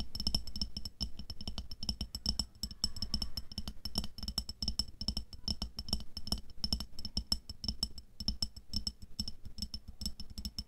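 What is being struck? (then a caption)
Glass jar of water beads. Long nails tap rapidly and steadily on the side of a clear glass jar with a black lid, full of red water beads (aqua pearls) and lying on fur. The dense, crisp clicks ring brightly and die out almost instantly, over a soft low thud from the beads inside.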